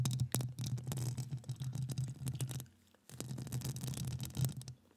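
Long acrylic nails tap and scratch across a hollow metal mesh microphone grille, producing a dense run of heavy, low, rumbling scrapes with quick sharp clicks and faint bright edges. The scratching stops for a brief near-silent gap just before the three-second mark, then resumes just as thickly before fading out.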